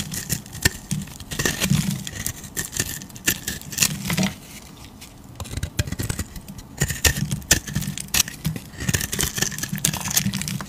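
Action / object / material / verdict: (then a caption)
scrape / bar of soap scraped with a blade / soap / none. A utility knife blade scrapes and carves thick curls off a solid oval tan bar of soap held in a hand with teal nails. Repeated short scraping strokes give dry, crisp crackles with bright hiss and a low, muffled body. The strokes pause briefly around the middle before resuming in quick bursts.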